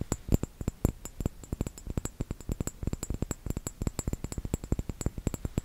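A small round glass bottle with a metal cap, filled with red liquid, is tapped with the fingertips and nails in a rapid, steady run of short taps. Each tap is a soft, dull low knock with a faint bright click that dies away almost at once.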